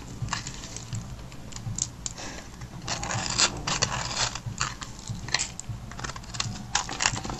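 A metal blade cuts and scrapes a grid pattern into a solid, hand-sized, black-and-white striped bar of dry soap held by fingers with long white nails, flaking off small cubes. Quiet, irregular, bright, crisp scratching and crunching cuts follow one another quickly, each dying away almost at once over a low, steady background hum.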